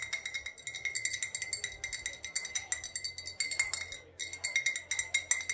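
An old glass bottle with a faded sticker, thought to hold either vodka or rubbing alcohol, is tapped and clinked rapidly and continuously. Each light tap gives a short, bright glassy ping with steady tones around 2 kHz and higher. The tapping runs in a dense, uneven rhythm with a brief pause near the four-second mark before resuming.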